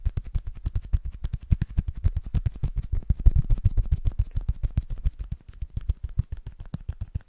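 Fingertips and nails tap quickly on the face and edges of a small, solid, flat rectangular cork board held in both hands. The result is a steady stream of soft, dull, low thuds at a rapid, uneven pace, each dying away almost at once. It has little brightness and swells slightly in the middle before easing off.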